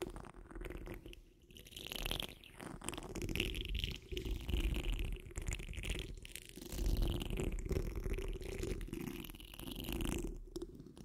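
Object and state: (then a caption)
Metal mesh microphone grille. The rounded, hollow steel wire-mesh grille of a large condenser microphone is scratched with the tips of long nails on curled fingers. The result is a continuous, dense, crackling scrape dominated by deep low rumble. Brighter rasping streaks rise and fall in waves across the clip.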